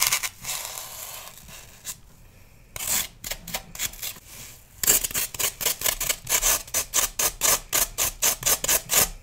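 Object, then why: Floral foam block. A metal knife saws and scrapes along the surface of a solid pale green floral foam block held in hand. A bright, hissy scraping starts and fades, then after a short pause returns as rapid, crisp strokes at about two per second. The strokes grow steadier and louder toward the end, each a dry, breathy rasp with almost no low end.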